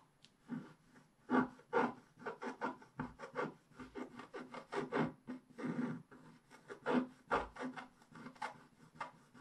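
A wooden stick scratches the leaf areas of a black-coated scratch-art paper page lying flat on a table. It makes a quick series of short, dry rasping strokes, some louder and some softer, with brief pauses between bursts.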